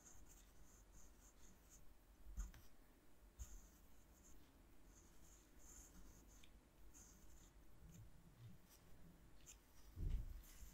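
A graphite pencil held in the fingertips scratches lettering across the dry painted surface of a flat sheet of watercolor paper taped to a cork board. Quiet, bright scratchy strokes come in short bursts over a low, steady rumble. There are a few louder soft bumps, one near the middle and one near the end.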